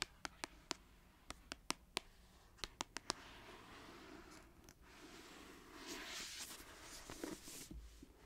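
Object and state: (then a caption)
Paperback book with glossy cover. A long white acrylic fingernail taps about a dozen times on the glossy card cover of a solid paperback book, 'The Arc', lying on a knit blanket, making sharp, bright clicks with no ring. The tapping then gives way to a steady, hissy scratching across the cover, growing brighter and a little louder toward the end.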